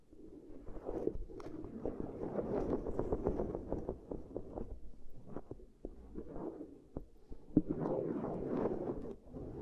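Long grey nails on both hands scratch and trace along the concentric ridges of a flat, hand-span-sized black silicone pad lying on cork coasters. The result is a soft, low-mid rubbery rustling broken by quick, dull ticks as the nails catch on the ridges, with brighter, busier scratching bursts near the start and end.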